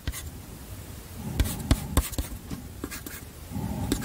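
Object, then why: Chalk on a wooden-framed slate chalkboard. Chalk held in the fingers scratches across a small flat black chalkboard slate in a wooden frame, held beside the mic, while writing Korean text. Short, dry scratching strokes and sharp clicks rise over a low, soft background rumble, each dying away almost at once.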